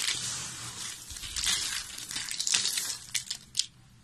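Small, solid, mixed-colour dry soap crumbs are squeezed and crushed in fists with long nails. A dense, bright crunching and crackling with almost no low end runs throughout, giving way near the end to a few separate sharp crunches.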